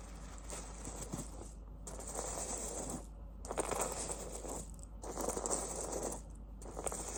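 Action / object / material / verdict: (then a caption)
shake / fabric heating pad filled with cherry pits / cherry pits / none. A microwavable fabric heating pad filled with cherry pits is handled and shaken, making the pits inside rattle. The dense, gritty rattling comes in repeated bursts separated by brief pauses.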